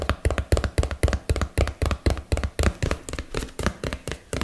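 Fingernails and fingertips tap quickly on a small, hollow yellow and blue printed cardboard box held close to the microphone. The taps come in a rapid, uneven series of dull, hollow knocks with a deep low thud and almost no ring, with faint brighter clicks from the nails.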